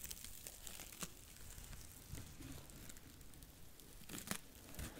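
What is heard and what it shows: A small, porous, dry blue cellulose sponge is squeezed and scratched with long nails right beside the microphone. It makes quiet, dry crinkling and crackling scratches with short, bright bursts over a soft low rumble. The texture stays close and continuous, with a few sharper scrapes standing out.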